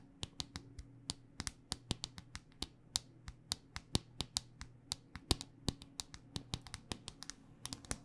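Long dark-painted nails tap a handheld smartphone in a solid black rugged hard-plastic case, giving about forty quick, crisp clicks with bright, sharp tops and almost no ring. The taps come in an irregular, steady stream over a faint low hum.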